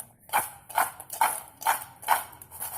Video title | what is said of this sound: बच्चो के लिए क्रिस्पी क्रंची मैक्रोनी कुरकुरे- Crispy Crunchy Macroni Kurkure for Children | इसकी आवाज़ सुनिए कितनी कुरकुरी है।